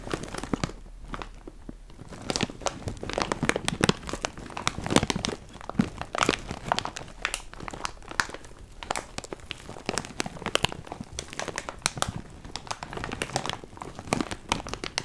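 A large, full, clear plastic bag of loose cardboard jigsaw puzzle pieces is held in both hands and crinkled and squeezed with fingertips. Dense, continuous crinkling with many quick, sharp, bright crackles runs steadily throughout, with the pieces shifting inside the bag.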